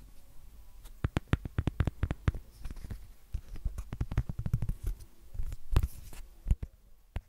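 A thin, hollow, empty transparent silicone phone case with a printed design, held in both hands over the recorder, is tapped and scratched with long painted fingernails and fingertips. Quick, dull, deep thumps come in irregular bursts, with softer scratching and rubbing between them. Each tap stops almost instantly with no ring.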